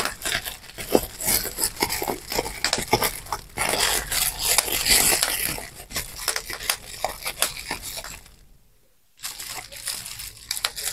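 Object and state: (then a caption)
Plastic bubble wrap. Clear plastic bubble wrap is crumpled while its bubbles are pinched and popped between thumbs and fingertips. Dense, bright crinkling runs throughout, with sharp pops at an irregular pace. It drops to near silence for about a second before the crinkling and popping resume.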